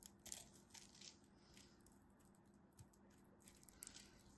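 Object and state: Bar of soap being carved.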